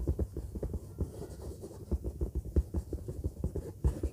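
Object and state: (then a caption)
Synthetic leather bag. A large orange textured faux-leather bag lies flat while long fingernails of both hands scratch across its surface. The result is a quick, steady run of short, dull, low scratching strokes with a soft, muffled thump to each, and almost no high-end brightness.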